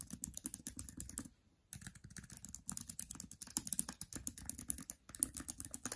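Fingers with long nails type quickly across the plastic keys of a MacBook Air keyboard, making a rapid stream of sharp, bright clicks and taps. The typing breaks off briefly twice before resuming.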